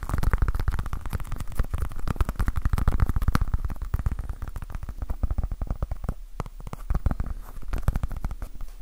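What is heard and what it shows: Fingertips and nails tap and scratch fast on a small, soft, solid orange foam stress ball with a basketball pattern. The result is a dense, rapid stream of short, dull, low thumps with almost no ring, broken by scratchy crackles and a few brief pauses.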